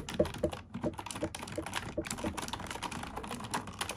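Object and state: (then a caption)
Plastic computer keyboard. A black plastic computer keyboard, seen from above, is typed on with long nails and fingertips. The result is a steady, rapid stream of short, dry clicks and taps with a faint mid-pitched tone around 600 Hz and a little bright edge. Each hit dies away almost at once.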